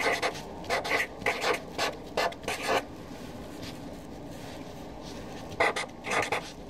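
A Sharpie felt-tip marker writes a new column of names on a white paper sheet resting on a desk, its tip rubbing and rasping against the paper. Short, bright scratchy strokes come in quick bursts, with a quiet pause in the middle before a few more strokes finish the clip.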